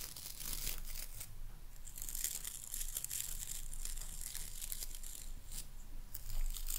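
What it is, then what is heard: Boar bristle hairbrush, scratched. Long nails scratch and rake across the dark boar bristles of a hairbrush with a light wooden body, making a continuous bright, crackling rustle. Dense high-frequency scratchy bursts swell and fade throughout over a low, steady rumble, with no clear pauses between strokes.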